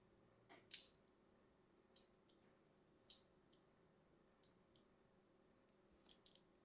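A thin metal blade scratches and cuts across a solid, hand-sized light green bar of soap held in the hand, cross-scoring its surface. Short, bright, crisp scraping clicks come at irregular intervals, with the loudest near the start, over a quiet background.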